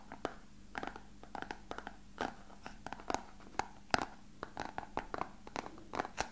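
An empty, elongated, translucent hollow plastic box is held in the hands and tapped and scratched with fingertips and nails. The result is a quick, irregular series of quiet, dry clicks and light scratches with a hollow midrange tone. Each tap dies away almost instantly.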